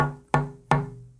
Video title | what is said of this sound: KIM WALKER 03 - Tap Tone Wood | you can hear a slight bit more reverberance in this, but it's not anything like the Brazilian